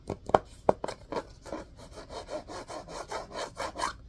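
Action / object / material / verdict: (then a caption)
scrape / cloth-covered hardcover book / cloth, board / none. Fingernails scratch and rub along the spine edge and cloth-covered board cover of a solid orange-and-cream hardcover book held upright. A few sharp scratches come first, then settle into a steady, rhythmic series of soft, dry rasping strokes, mostly midrange with a faint bright hiss.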